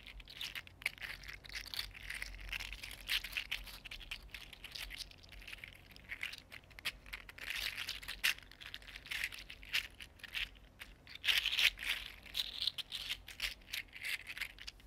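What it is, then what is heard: 3D printed plastic fidget slug. A small, hollow, articulated green 3D printed plastic fidget slug is held in one hand and squeezed and bent by the fingertips. Its segments rattle and click in a dense, continuous stream of bright, crisp ticks with a crinkling texture. The clicks swell in brief louder bursts throughout.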